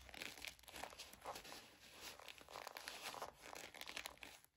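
Long nails and fingertips scratch and rub the sequin bow and glitter ears of a sequin and glitter fabric mouse-ear headband. The result is a quiet, bright stream of fast, crinkly scratches with dense overlapping onsets and almost no low end.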